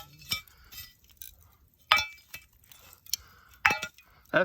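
Bright, glassy clinks of charcoal pieces struck together, high and brief, the sound of good, well-fired charcoal.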